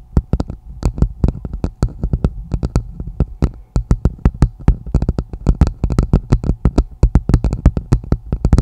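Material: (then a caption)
Plastic. Long nails on both hands tap and scratch the bowl of a hollow, empty red plastic martini glass set upside down over a microphone. Dozens of quick, dry taps land in rapid, uneven bursts. Each has a deep, boomy thud and a bright clicky edge that dies away almost at once.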